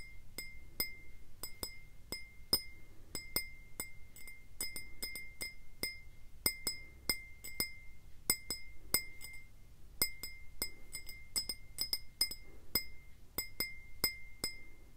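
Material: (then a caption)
Glass. A clear, faceted, mostly empty glass tumbler, held close, is tapped with fingertips and nails in an irregular rhythm of about 38 quick taps. Each tap gives a bright, short glassy clink with a steady ring near 2 kHz and high overtones that fade almost at once, over a faint low rumble.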